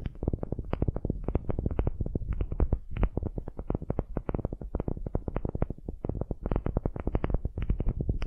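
A solid, light wooden cube held in the hands is scratched across its surface by long nails. The result is a rapid, continuous run of short, dry scratching strokes, heavy in the low end with a dull, muffled texture and no ring after each stroke.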